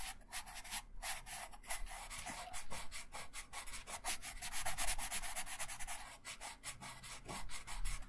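A wooden colored pencil held in the right hand rubs and scratches colour onto a thin printed paper coloring sheet lying flat on a wooden table, in short, quick strokes. The result is a steady run of dry, papery scratching with bright, hissy texture over a faint low rumble.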